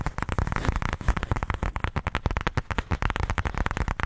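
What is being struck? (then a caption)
Pebbled faux leather case. Fingertips scratch and tap quickly across the face of a black, pebbled faux leather case held upright. The result is a dense, continuous run of short, dull, low thumps with a soft scratchy texture and very little bright content.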